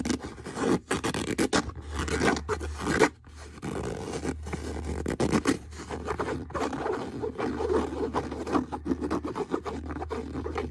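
Fingernails scrape and scratch across a brown leather boot in quick, repeated strokes, making a dry, raspy rubbing sound with brief pauses between bursts. A faint low hum comes and goes underneath.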